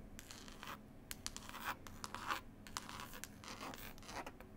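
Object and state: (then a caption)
Cloth-bound hardcover CD case. Long pointed acrylic nails scratch and tap quickly across the cover of a green linen-cloth hardcover CD case with an illustrated label. The result is an irregular stream of dry, bright scratching strokes punctuated by sharp, short clicks over a faint steady low hum.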